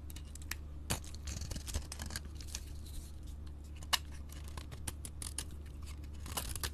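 A utility-knife blade shaves a solid pink soap bar with a blue glitter coating, held in the hand. Short, crisp scraping strokes with bright, papery crackle come one after another, a few sharper clicks standing out, over a steady low hum.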